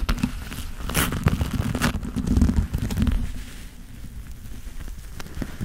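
Black leather-gloved hands rub together and squeeze their fingers close to the microphone. The result is a dense, low creaking and rustling with soft crackles and brief bright scuffs, louder in the first three seconds before easing.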